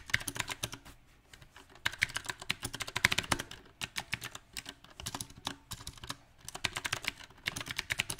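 Fast fingertip typing on a mechanical keyboard with round plastic typewriter-style keycaps set on a silver metal frame. It produces a dense, uneven stream of bright, crisp key taps that stop almost instantly and center around 2 kHz. The taps come in irregular bursts, with brief lulls near the first and sixth seconds.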